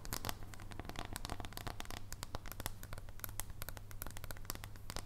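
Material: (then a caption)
Chocolate. A solid dark chocolate bar is held horizontally while long nails tap and scratch along its edge. Quick, irregular crisp clicks and scratchy, crinkly crackles follow one another throughout, over a steady low hum.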